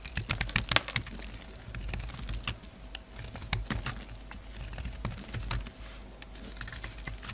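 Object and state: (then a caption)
Soap bar being shaved. A solid black-and-white soap bar, held in the hand, is shaved and scraped with a metal utility-knife blade, and the shavings fall onto a wooden table. The sound is a steady run of crisp, dry scraping ticks with bright edges, each cut ending almost instantly, over a low, soft background rumble.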